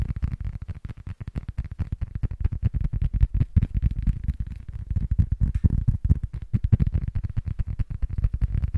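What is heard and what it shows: Fingertips and short nails rapidly tap and scratch the surface and edge of a small, flat, solid rectangular cork board held close to the mic. The result is a dense, steady stream of dull, muffled low thumps that stop almost instantly, with nearly all the energy deep in the bass and almost nothing bright.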